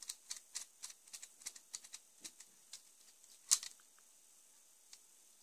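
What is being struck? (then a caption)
ABS plastic brick car chassis. A partly built Lego lowrider chassis from the Batman Movie set 70906, The Joker Notorious Lowrider, made of ABS plastic bricks about 25 cm long with a hollow studded underside, is held in both hands and turned over while fingertips tap and scratch it. About fourteen short, dry, bright plastic clicks and taps come with almost no low end, and the loudest, sharpest tap-scrape falls about two-thirds of the way through. After that it goes nearly quiet, with one last soft tap near the end.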